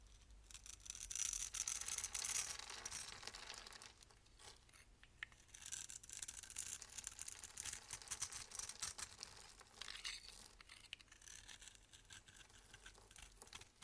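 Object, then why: Bar of soap cut with a metal blade. A metal box-cutter blade scrapes across a solid oval blue bar of soap held in the hand and pre-scored in a grid, so small cubes of soap crumble off. The sound is a dry, bright, crackly scraping made of rapid short strokes with almost no low end, loudest in the first few seconds and then continuing in steadier bursts.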